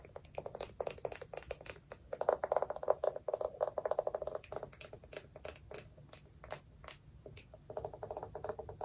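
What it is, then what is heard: Wooden lidded jar, hollow. Long nails tap rapidly on the side and lid of a small, round, hollow wooden jar. The result is a dense run of short, dry clicks with a hollow mid-pitched knock and quick bright ticks. The taps come in bursts that swell and fade over the clip.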